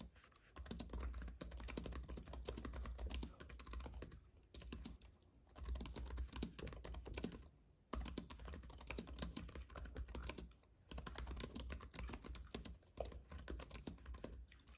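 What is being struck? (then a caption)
Plastic keys on an aluminum keyboard base. Fast, steady typing on a slim white keyboard with plastic keys on a silver aluminum base, struck with the fingertips of both hands. Dense bursts of short, crisp clicks come with a low thud under each run. The bursts are separated by brief pauses near 4.5, 5.5, 7.8 and 10.8 seconds.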